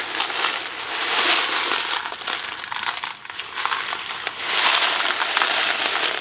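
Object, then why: Cardboard box of dry pasta. A small Kraft macaroni and cheese cardboard box filled with dry pasta is held in one hand, tilted and shaken so the pasta rattles inside. The result is a dense, bright, crinkly rattle that swells in two louder bursts with a brief lull between them.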